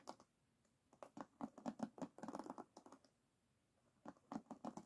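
Fingertips and nails scratch over the wooden pins of an oval wooden hairbrush lying on a table. Quick, dry clicking ticks come in three bursts separated by quiet pauses, each tick short with no ring and a low, woody tone.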